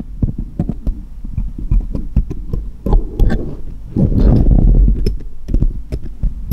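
Small solid steel jeweller's screwdrivers rest on cloth, and one held upright taps against the others in quick, irregular metallic ticks. The taps are short and dry, with almost no ring, over a steady low hum. Denser, rumbling stretches of tapping swell around the middle of the clip before the sparse ticks return.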